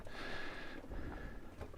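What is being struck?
Nothing is struck.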